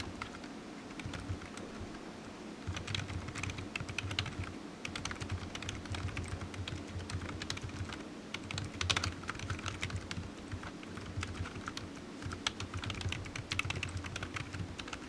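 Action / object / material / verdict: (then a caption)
tap / plastic computer keyboard / plastic / none. Fingertips of one hand tap the keys of a solid black low-profile plastic computer keyboard resting on a desk mat, producing steady, quiet typing. Rapid, short, bright clicks overlap in uneven bursts over a constant low hum.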